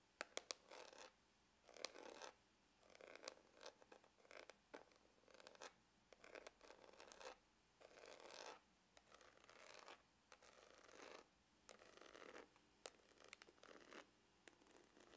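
Fingernails scratch across the textured top of a dark brown grained faux-leather glasses case with a hollow hard shell. Short, quiet bursts of dry, bright scratching come in an uneven rhythm, separated by brief silences and a few sharp ticks.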